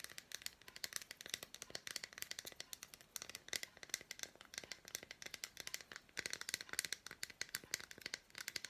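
Long black nails tap and scratch quickly across the squares of an unwrapped solid milk chocolate bar with red fruit bits. The result is a quiet, dense stream of dozens of short, bright clicks and scratchy ticks, mostly high-pitched with almost no low end.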